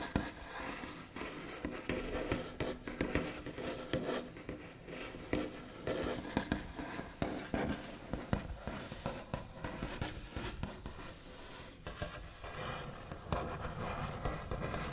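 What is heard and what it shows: The backs of long nails on both hands tap and trace across a solid, flat, white-finished wooden tabletop. The result is a steady stream of quick, dry taps mixed with scratchy, brushing strokes. Each tap dies away almost at once.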